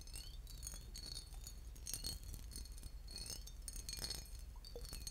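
A small embossed, boot-shaped glass bottle with a metal cap, partly filled with liquid, is held in the hands and tapped and scratched with fingernails. Bright, glassy clinks and scraping ticks run steadily throughout, with brief high ringing over a low, steady rumble.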